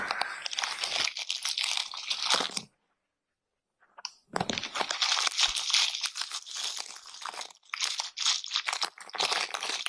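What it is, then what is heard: Natural bristle bath brush. A natural bristle bath brush with stiff pale tufts is scratched and rubbed by hand against a clear pane, heard close up. Dense, bright, crunchy scratching and crinkling strokes fill the clip, broken by a silent pause of about a second before the rubbing resumes.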